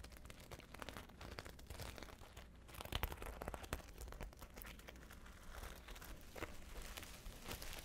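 Long nails scratch and tap a flat, hollow patchwork clutch covered in multicolored glass seed beads, held close to the face. The result is a dense, steady stream of crisp, crinkly clicks and rustling over a low hum, with a brief louder burst of taps partway through.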